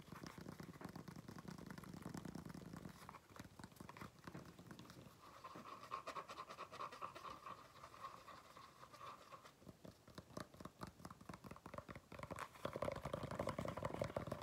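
Fingernails scratch and tap on the black textured rubber tread of a flat shoe's sole held up close, making a quiet, rapid, irregular stream of dry clicks and raspy scrapes. The first few seconds carry a soft, low rumbling scratch, and the sound turns into crisper, busier tapping that swells slightly louder toward the end.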